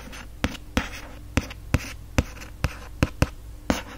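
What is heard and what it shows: A fingertip and nail trace and scratch over the lettering on the printed, foil-stamped cover of a hardcover book. Nine sharp, brief taps stand out over a steady low, soft scratching hiss, with bursts of brighter rasping after several of them.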